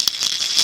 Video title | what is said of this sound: History of Blind Tennis 'Takei's Dream' | This is a plastic ball, which is part of a toy baseball set for kids. I put tiny lead beads in it. When you shake it, you can hear a very distinctive sound.